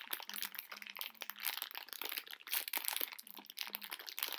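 A plastic bag full of hard conversation heart candies is tapped and scratched by long nails while the hands tilt it to shift the candies inside. Bright, dense crinkling and crunching comes through, with quick sharp taps and the rattle of the hard hearts sliding against each other.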